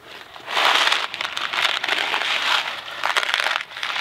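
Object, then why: Cardboard box filled with dry pasta. A small Kraft macaroni and cheese cardboard box filled with dry pasta is shaken, then tapped on its sides with fingertips. The dry pasta makes a bright, hissy rattle in surging bursts, with crisp crinkly clicks and almost no low end.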